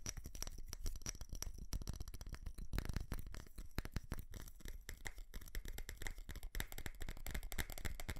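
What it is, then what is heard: Ceramic light-up Christmas tree. Fingernails tap and scratch close to the mic on a small ceramic light-up Christmas tree with plastic bulbs and a star. A dense, irregular stream of quick clicks and scratchy rubs carries on throughout, with dry taps that stop almost instantly.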